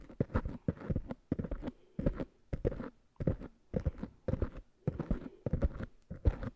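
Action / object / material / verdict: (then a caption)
tap / foam microphone windscreens / foam / none. Fingertips and long nails tap and scratch the tops of two small, soft black foam covers on microphones. The result is clusters of quick, muffled, low-heavy thumps and soft rustling scratches, separated by short pauses.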